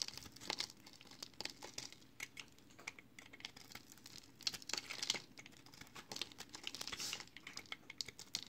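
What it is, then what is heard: Recycled soap bar being shaved. A solid rectangular bar of multicolored recycled soap, made of green, yellow and blue soap flakes, is held in one hand and shaved with a box cutter blade. The result is a steady run of crisp, bright, crinkly scraping strokes, mostly high-pitched with little low end, and a few louder scrapes stand out.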